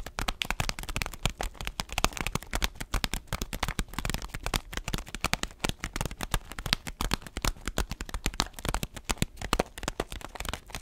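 Fingers and nails tap and press a bean-filled paper-foil coffee bag held horizontally, shifting the coffee beans inside. A dense, steady stream of short, dry crinkles and clicks is heard, with bright foil rustle over soft low thumps and the rattle of beans moving.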